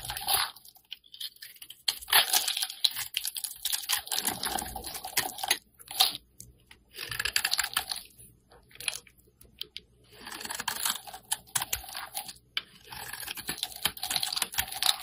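A metal blade scrapes thin curled shavings off a hand-held solid translucent orange glycerin soap bar. Crisp, bright, crackling scraping comes in several bursts separated by short quiet pauses, with almost no low end.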